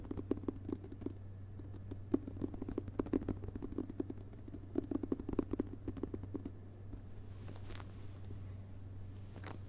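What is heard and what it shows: Fingertips and fingerpads of both hands tap quickly on the front cover of a closed hardcover book with a glossy paper dust jacket, lying on a carpet. Many soft, short, dull taps with a low-mid thump come in busy clusters over a steady low hum. The tapping thins out near the end, leaving a few faint brushing sounds.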